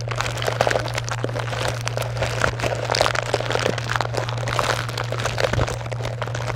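Long acrylic nails scratch and rummage through a white box full of small wrapped chocolate bars (Butterfinger, Twix, Kit Kat and Snickers) in crinkly plastic and foil wrappers. The result is a dense, continuous crinkling and crunching with bright rustle, sharp little crackles and scratches, all over a steady low hum.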